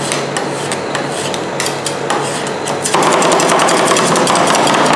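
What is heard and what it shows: Two metal spatulas with wooden handles knock and scrape a mound of frozen Nutella and Filipinos ice cream mix against a large, round, flat, solid stainless steel cold plate. Rapid, fairly steady tapping clicks ride over a continuous scratchy rasp. Around the three-second mark the scraping becomes louder and brighter.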